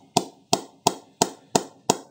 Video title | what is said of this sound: Grainy CA Plus 15000 Players Edition 7 Star Review | Coming into the meat of the bat now. Still a nice and even sound.